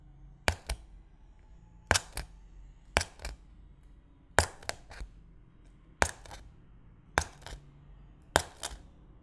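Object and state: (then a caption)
Cling film over a glass bowl being poked. A thin white stick repeatedly pokes through clear plastic cling film, already punctured and wrinkled, stretched over an empty glass bowl. Each poke makes a sharp, bright crackling snap, and the snaps come in seven quick pairs separated by quiet gaps. Every crack dies away almost instantly.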